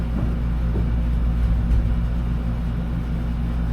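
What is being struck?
Nothing is struck.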